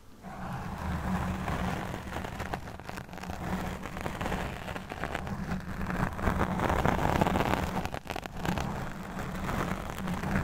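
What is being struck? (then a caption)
Foam microphone windscreen. A black foam microphone windscreen is scratched and brushed with the fingertips and nails of both hands. The result is a steady, dense rustling and scraping with a strong low rumble and muffled midrange texture, rising and falling in intensity without a break over the clip.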